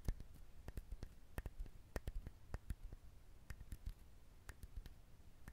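A coconut shell is handled, tapped and scratched for ASMR, giving a quiet series of short, dry clicks and taps over a soft scratchy rustle. Each tap has a dull low thump with a brief bright tick on top and dies away almost at once.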